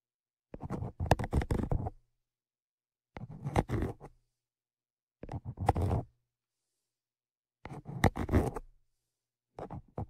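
Tweezers scratch the top of the metal X/Y microphone capsules on a Zoom H5, close to the mics. The scratching comes in five short bursts of quick, dry scraping and tapping, with brief silences between them. It sounds mostly low and rumbly, with a few brighter clicks, and the last burst is cut off at the end.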